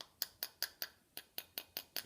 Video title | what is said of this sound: Resin Cast Video 02 | if you tap it, you can hear it's pretty solid.